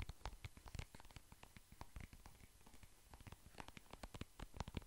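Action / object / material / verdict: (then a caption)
tap / soft plastic cream tube / soft plastic / none. A soft plastic cream tube is tapped and scratched with fingertips and nails close to the mic. The result is a quiet, rapid run of short, dry taps and scratchy brushes with a soft thudding low end and occasional bright clicks, growing denser toward the end.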